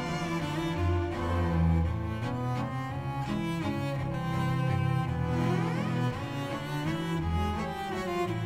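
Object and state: Nothing is struck.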